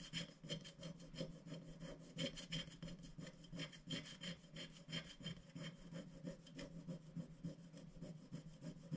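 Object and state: Scratch-art sticker sheet being scraped.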